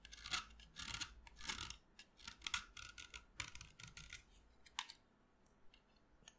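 A solid white chalk stick, held upright in the hand, is shaved with a utility knife blade, and the powder falls onto the table. Quiet, bright, dry scraping strokes come in irregular bursts, some longer rasps and some short flicks. The scraping fades to softer, sparser scratches toward the end.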